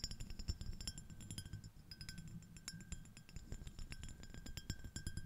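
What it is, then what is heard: Glass shell-shaped dish tapped with nails. Long acrylic nail tips of one hand tap rapidly on an empty, small, clear, iridescent, ribbed, shell-shaped glass dish. The result is a dense run of light clicks and bright glassy clinks over a soft low thud, each tap dying away almost instantly.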